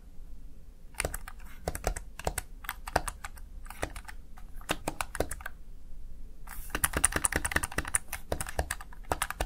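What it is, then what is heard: Plastic gaming keypad. Fingertips rapidly press the keys of a Razer Tartarus Chroma plastic gaming keypad, producing a steady stream of short, dry clicks over a low background hum. The sharp taps come in uneven bursts and quicken into a dense, bright cluster toward the end.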